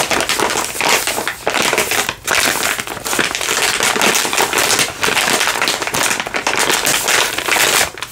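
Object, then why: Soft plastic wipes package. A soft plastic baby-wipes pack is held in both hands and crinkled and squeezed with fingers and nails. Dense, bright crackling and crinkling runs almost continuously, with brief dips in loudness between bursts of handling.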